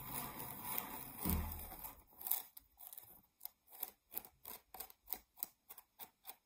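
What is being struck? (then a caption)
Round cork board. Long nails scratch across the face and edge of a flat, solid, round cork board. A dry, continuous scraping opens the clip, then breaks into a steady series of short, separate scratchy strokes with a bright, hissy edge.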